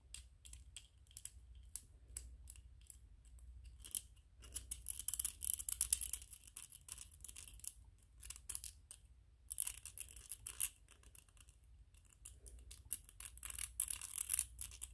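Fingernails quickly tap and scratch a small white 3D-printed PLA plastic ghost toy, making quiet, bright clicks and dry scraping. Dense bursts of scratching around four to eight seconds, ten to eleven seconds and near the end are separated by sparser taps, over a steady low hum.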